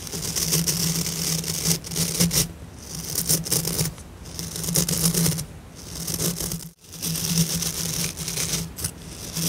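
Fingertips and long nails rub and flick the thick white synthetic bristle tufts of a light blue plastic scrub brush head held in both hands. The result is a dense, bright, crackling scratch that swells and fades in repeated bursts over a steady low hum, with a brief near-silent gap late in the clip.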